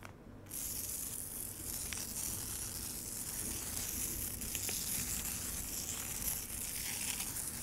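Long acrylic nails scratch and tap across the icy surface of a solid slab of frozen lemonade in a large black plastic tray. After a brief quiet start, a steady, bright, scratchy hiss runs throughout, with faint crackling clicks scattered through it.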